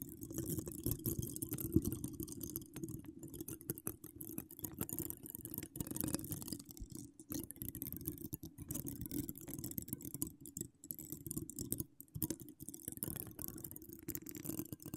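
Long decorated acrylic nails scratch across a hollow metal mesh microphone grille in a steady, dense stream of rough scraping and tapping. The sound is heavy and muffled, with most of its weight in the low range, a faint high hiss above, and only brief dips between strokes.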